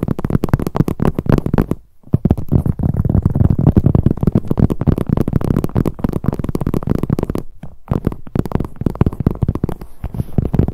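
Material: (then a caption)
Leather. Long acrylic nails rapidly tap and scratch the front of a medium, hollow, black glossy leather handbag with handles. The result is a dense stream of dull, low, muffled thumps and rubbing, with almost no bright content. The sound pauses briefly around 2 and 7.5 seconds.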